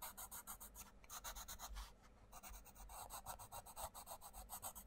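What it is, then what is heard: Coloured pencil on a paper colouring book page. A wooden coloured pencil rubs across a mandala page of an open paperback colouring book in short, quick strokes. It makes a bright, dry, scratchy rasp that pulses steadily, with a couple of brief pauses, against a faint low hum.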